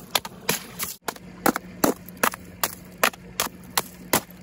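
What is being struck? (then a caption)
Sheet of ice struck with a hammer. A flat, frosted sheet of frozen ice with a crystal pattern, solid and brittle, is struck repeatedly with the metal head of a wooden-handled claw hammer. Each blow lands as a sharp, bright crack with a short, crunchy ring, and the hits come at a loose, steady pace. The ice shatters into chunks.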